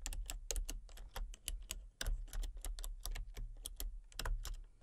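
Fingertips and long painted nails type rapidly on a full-size backlit plastic RGB computer keyboard with hollow key switches and colour-cycling lights. The quick, sharp taps have bright, hollow clicks over a steady low hum, and each tap fades fast.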